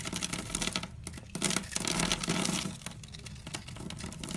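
A metal utility knife blade scrapes and slices along the face of a solid purple bar of dry soap held in the hand, crumbling small cubes off its pre-scored surface. The sound is a dense, bright crackle of crumbling and gritty scraping with short, dry, rapid ticks that swell and fade over a few seconds.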